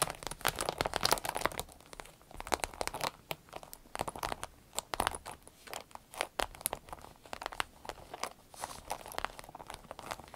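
Long nails scratch and tap the vinyl surface near the zipper of a small green-yellow vinyl zippered pouch. The result is a dense, irregular stream of sharp, bright crinkling clicks and scratchy rustles with little low end, each tap dying away almost instantly.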